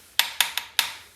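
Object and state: Solid, well-bonded ceramic shower floor tile.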